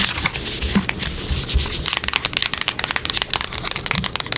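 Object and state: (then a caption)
Cardboard box tapped and scratched with nails. A small, closed, hollow printed cardboard product box is held in the hands and tapped and scratched with long acrylic nails across its face and edges. A steady, bright, rubbing scratch fills the first two seconds. It then gives way to rapid, crisp, dry taps with no ring.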